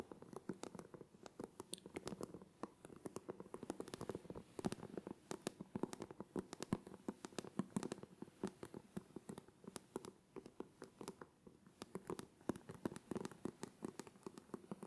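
A black plastic hairbrush with dense bristles, held in both hands, has its bristles scratched and flicked with the fingertips. The result is a quiet, steady stream of rapid, dry ticks and crackles with a soft low-mid body and very short decay.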